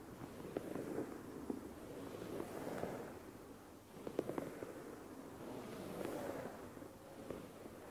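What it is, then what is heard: Fleece blanket. A dark grey dotted fleece blanket lying flat is scratched with fingertips and nails in sweeping motions across its soft fabric surface. The result is a quiet, breathy rustle that swells and fades with each sweep, centered in the low midrange, with a few brief, sharp nail ticks poking through.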